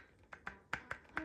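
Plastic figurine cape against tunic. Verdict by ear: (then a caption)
Loose. A Dragon Ball figurine is moved by hand, and its plastic cape, which is not glued to the white tunic, clicks against it. Five short, bright plastic-on-plastic clicks are heard with little ring. The loose cape is not a bother.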